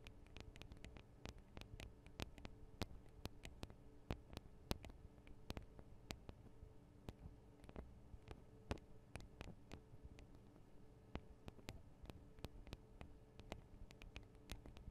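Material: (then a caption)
Metal. Long acrylic nails from both hands tap the small, hollow metal microphone capsules of a Tascam DR-40 recorder. The result is a quiet, steady run of sharp, bright clicks over a low, constant hum.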